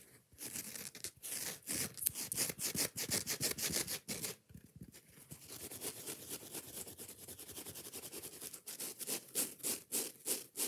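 Long nails rapidly scratch the rough green nylon scouring pad of a foam kitchen sponge, close up. Quick, bright, raspy strokes come in a fast, uneven rhythm, briefly pause just after four seconds, then resume as a softer, steadier scraping before sharper strokes return at the end.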